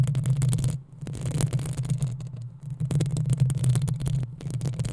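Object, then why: Metal mesh microphone grille. Long nails scratch the hollow metal mesh grille of a black desktop microphone, making a dense, rasping crackle with bright edges over a steady low hum. The scratching comes in quick bursts, dropping nearly silent twice before picking back up.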